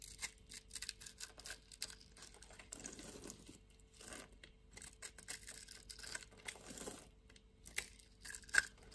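A solid white-and-pink bar of soap, held in the hand, has its surface scraped and shaved with a metal box-cutter blade. Quiet, dry, crackly scraping comes in quick repeated strokes with a bright, papery rasp and a faint steady hum underneath. A sharper click stands out near the end.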